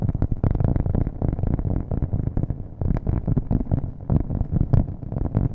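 A thin, solid, round cork coaster or board, held in one hand near the microphone, is tapped fast with long nails on its flat face. The taps come as a dense, continuous run of dull, low thuds centred around 100 Hz, each dying away almost instantly, with no bright or high content.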